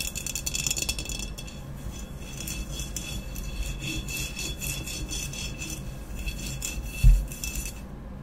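Long nails rapidly tap and scratch a medium, hollow, empty glazed ceramic vase with a matte black textured body, standing upright. A steady run of quick, dry clicks and rasping scrapes carries a bright, high edge over a faint low hollow body. A single louder knock lands near the seventh second before the sound drops away.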